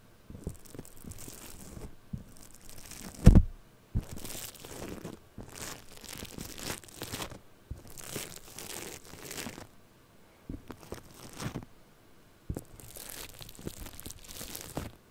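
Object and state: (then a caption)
Foam-bead clay (floam) being scratched. Purple foam-bead floam clay sits on a microphone head and is scratched and picked at with a thin, small tool. Soft crinkling, crunchy crackles come in bursts of bright texture over low, muffled rubbing, with brief quiet gaps and one louder thump near the start.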